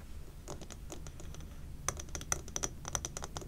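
Long painted nails tap rapidly on the glass walls of a large, labeled amber glass jar candle that is full of wax and burning, while both hands grip its sides. The irregular, quick taps give bright, sharp clicks with a brief high glassy ping, over a soft low rumble.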